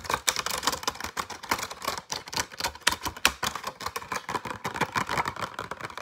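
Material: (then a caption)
Plastic. Fingernails tap and scratch very fast on a flat, light retail pack of six pencils held in a clear plastic blister with a cardboard backing. The result is a dense, steady stream of crisp, bright plastic clicks and scrapes with a tone near 1.1 kHz, each one dying away almost instantly.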